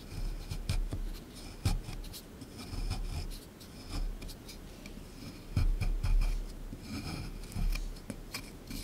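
A small chisel tool scrapes hard at a solid plaster excavation block sitting in a tray. It makes a string of gritty, rasping scrapes, with dull low knocks underneath and brief bright scratches at the peaks of each stroke.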